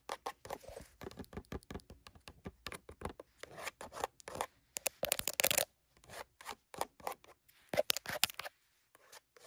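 Long burgundy nails rapidly scratch and tap the edges and faces of a small, hollow, printed LEGO cardboard box. The result is a quick run of dry, papery taps and scratchy bursts that are bright and thin, with almost no low end and no ring after each stroke.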